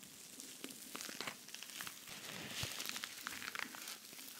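Fingernails scratch across the rhinestone-covered face of a silver cosmetic pouch with pink trim. The result is a soft, continuous, bright crinkling and crackling with dense tiny clicks and brief sharper ticks, with almost no low end.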